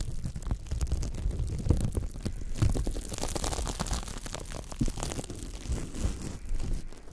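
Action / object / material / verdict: scrape / silicone scrubber pad with nubbed bristles / silicone / none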